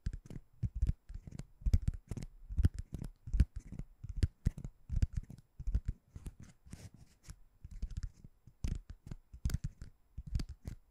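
A white ring-shaped door stopper that looks like solid foam or rubber is scratched and tapped with short-nailed fingertips. The result is a quiet, rapid run of dozens of soft, dull, low thuds with no ring, edged by brief bright scratchy rasps.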